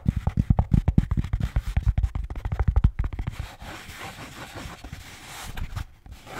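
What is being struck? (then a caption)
Beer can holder. A blue Bintang beer can holder is tapped quickly, giving a dense run of short, dull, low knocks for about the first three and a half seconds. It then shifts to softer, continuous scratching with a brighter, hissy texture for the rest of the clip.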